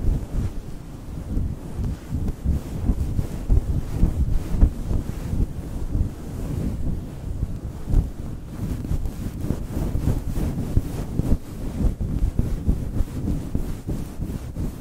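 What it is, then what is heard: Faux fur microphone windscreen being scratched. Both hands grip a soft, fist-sized pink fluffy synthetic faux fur cover over a foam microphone windscreen, scratching and rubbing it with fingertips and short nails. The result is a continuous, dense, muffled low rumble with brushing and scuffing pulses and almost no high or bright content.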